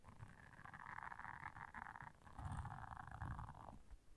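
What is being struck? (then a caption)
Silicone bristle scrubber pad. Long nails scratch the bristle surface of a round blue silicone scrubber pad lying flat. Two sustained, rasping scratching passes fill the midrange, with soft, low rumbling thumps underneath, and the sound stays quiet overall.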